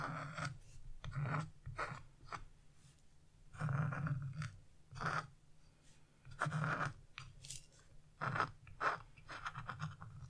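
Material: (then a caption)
Coated paper. A dark chisel tip scratches leaf and branch lines into black, wax-coated scratch-art paper, leaving black flakes behind. Short bursts of dry, raspy scraping come and go, with quiet pauses between strokes and a steady low hum underneath.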